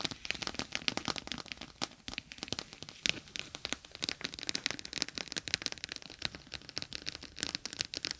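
A gel bead eye mask, a clear plastic pouch filled with gel beads, lies over the microphone while long acrylic nails scratch and press it. The result is a dense, steady stream of crisp, bright crackles and tiny clicks, mostly high-pitched with almost no low end.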